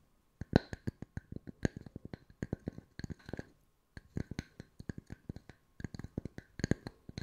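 Wooden circles are tapped with the fingertips at mixed speeds for ASMR, giving a quick, uneven run of soft, dry, hollow knocks. Each knock is low and dies away almost at once, with short pauses between bursts.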